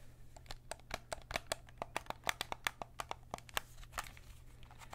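A white PS5 DualSense controller, a hollow plastic shell held close, has its shoulder triggers clicked and its shell tapped by fingertips. A quick, uneven run of about two dozen short, dry, bright clicks and taps, each dying away almost at once, sits over a steady low hum.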